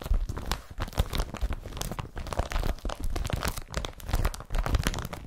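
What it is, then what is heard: Woven polypropylene carrier bag. A blue woven polypropylene IKEA BRATTBY carrier bag, laid flat, is scratched by both hands with fingertips and short nails. The result is a continuous stream of rough, crinkling scratches and soft crunches with a heavy low rumble, rising and falling in short bursts without pause.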